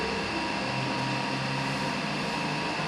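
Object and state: Nothing is struck.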